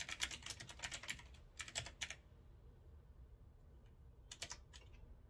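A hand types steadily on a retro typewriter-style mechanical keyboard with a metal frame and round keycaps. Quick bright clicks come in a fast run, then a pause, then a short final burst. The sound is a crisp, high clatter of keys with almost no ring after each press.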